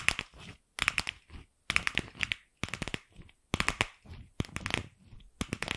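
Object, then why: Hollow plastic ball. A single palm-sized, light pink hollow plastic ball is held in the hand and scratched and tapped with long pink acrylic nails. The result is quick, bright clicks and dry crinkly scratches, concentrated around 2.3 kHz. They come in about seven short bursts separated by brief silences.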